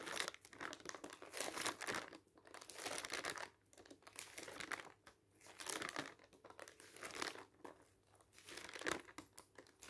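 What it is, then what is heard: Thin paper flyer, pages crinkling. Fingertips rapidly turn and flap the pages of a thin paper advertising leaflet. The pages give off quiet, bright crinkling and rustling in irregular bursts, with brief pauses between the flurries.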